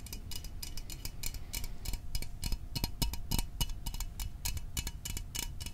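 Fingernails tap quickly and unevenly on the sides of a small, hollow Fanta orange aluminium drink can held in the hands. Each tap is a short, bright metallic click that dies away almost at once, over a steady low rumble.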